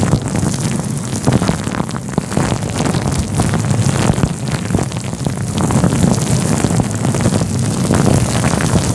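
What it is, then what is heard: Synthetic fur microphone windscreen being rubbed. Fingertips rub and scratch a fluffy grey-white faux fur windscreen covering a microphone. The result is a dense, continuous rustling scrape with heavy low rumble and fine crackling texture, holding steady throughout with gentle swells in intensity.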